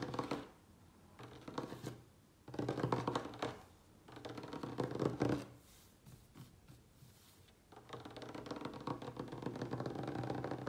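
A light, solid wooden tabletop is tapped and scratched quickly with the fingertips and nails of both hands. Bursts of rapid, dry, short tapping and rustling scratches come in waves, separated by quieter pauses. A soft low knock runs through the taps.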